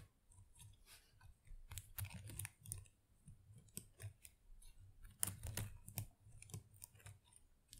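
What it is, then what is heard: Artificial plastic plant leaves. Long acrylic nails scratch and flutter through the small plastic leaves of an artificial potted plant. Quiet, irregular bursts of crisp, bright rustling and clicking come and go over a soft low rumble.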